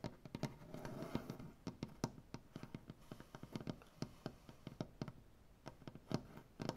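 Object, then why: Maple butcher block tabletop. Fingers with clawed, black-painted nails tap rapidly on the surface of a solid maple butcher block tabletop. The result is a quick series of short, dull wooden knocks with little ring, weighted toward low tones. A soft rustly, scratchy texture sits between some of the taps.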